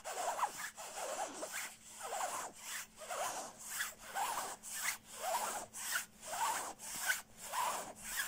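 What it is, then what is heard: Nylon puffer jacket being scratched. Fingertips and short nails scratch the shell of a soft, padded black quilted nylon down jacket. The result is a steady series of rhythmic, rasping strokes that swell and fade, with a papery, bright hiss over a mid-range scrape and no low end.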